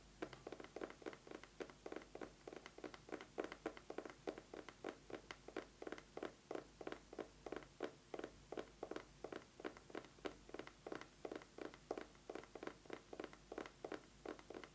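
An eyeglasses case is tapped rapidly with fingernails, producing about 69 short, dry clicks at a steady, even pace over roughly 15 seconds. Each tap is crisp and dies away almost instantly, with a mid-range, slightly hollow tone around 450 Hz and very little low or high end.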